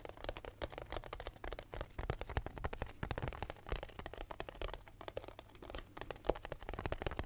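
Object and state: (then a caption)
Cardboard box tapped. Fingertips and nails tap rapidly on a small, hollow, labeled cardboard box. The result is a dense stream of short, dry clicks and hollow knocks, with a steady low hum underneath throughout.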